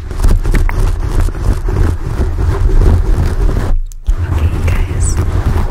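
Fingertips rub and scratch the sides of a porous black foam microphone windscreen up close. The result is a deep, dense, continuous rumbling scrape dominated by low frequencies, with a brief near-silent dropout just before the scratching resumes.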